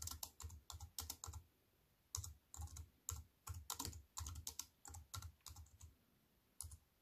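Long white-painted nails and fingertips type fast on a slim, compact wireless keyboard with a silver aluminium frame and black plastic keys, resting on a wooden table. Quick bursts of short, bright clicky taps with a soft low thump under each keystroke come in rapid runs separated by brief pauses. Each tap dies away almost instantly.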